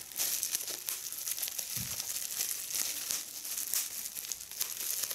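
A small hollow piece of clear, air-filled plastic bubble wrap is held in both hands while its bubbles are pinched and popped with fingertips and long red nails. The result is a steady stream of bright, crisp crinkling and sharp little pops that die away almost instantly, with a brief low thump near the two-second mark.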